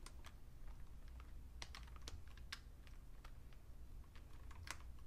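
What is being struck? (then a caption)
Plastic computer keyboard. Two hands type with their fingertips on a vintage beige plastic full-size Fujitsu Siemens computer keyboard. A quiet, continuous run of short, bright key clicks sits over a steady low hum. Each click is crisp and dies away almost at once.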